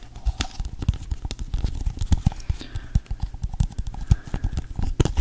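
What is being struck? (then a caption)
Plastic cup. Fingertips and nails tap on the base and sides of an empty, hollow pink plastic cup held over and around a microphone. A rapid, uneven run of short, dry taps follows, each a deep, hollow thump with little ring and a faint bright click at the edge.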